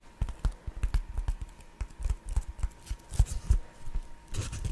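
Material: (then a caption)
Foam. A thin, flat, hand-sized sheet of black textured foam is held close to the microphone while fingertips and short nails rub and tap its surface. Dull, low, muffled taps and soft scratching come in quick irregular bursts, with brighter rustling near the end as the sheet is pressed up to the mic.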